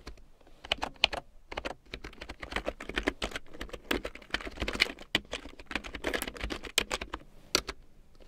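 A full-size large print keyboard with a black plastic frame and big yellow plastic keycaps, lying on faux fur, is typed on with long painted nails and fingertips. A steady run of quick, dry, bright plastic clicks and taps comes in uneven bursts, each dying away almost at once, with little low end.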